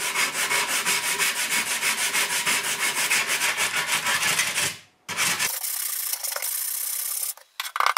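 An old, rusty steel shovel head of thin sheet metal lies on a workbench while one hand holds its socket and the other rubs the blade back and forth with a small wooden sanding block wrapped in sandpaper. Bright, gritty rasping strokes repeat at about three per second for nearly five seconds, then fade out. After a brief pause, a steadier, continuous scrape follows, ending in a few short bursts.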